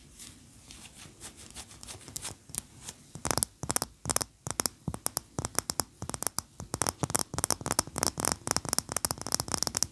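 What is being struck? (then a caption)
Wax pillar candle. Long nails scratch softly over a large, upright, cream-colored solid wax pillar candle. After about three seconds, fast, sharp nail taps take over, mixed with more scratching. The clicks are dry and bright, with almost no ring.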